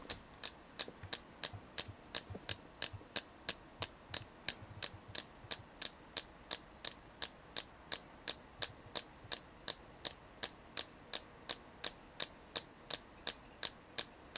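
A selenite crystal is tapped in a steady, quick rhythm, about three taps per second. Forty-two short, bright clicks stand clearly apart, each dying away almost instantly over a faint low background hum.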